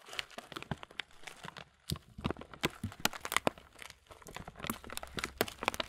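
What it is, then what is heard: Plastic bag of muesli being crinkled. A transparent, thin plastic bag partly full of oat muesli is crinkled and squeezed in both hands. It makes a dense run of sharp, bright crackles and crunches with brief quieter gaps, each snap dying away almost at once.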